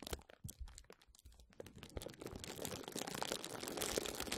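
Clear plastic bubble wrap is bunched over the mic and squeezed and scratched with the fingertips and nails of both hands. Sparse, sharp crackles and pops give way after about a second and a half to a dense, bright, continuous crinkling that grows steadily louder.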